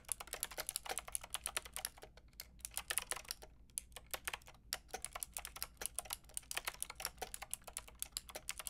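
Long painted nails and fingertips type steadily on a white-pink backlit mechanical keyboard with round plastic keycaps. The keys give a rapid run of short, bright, clicky taps with brief pauses. Each tap dies away almost instantly, with little low-end body.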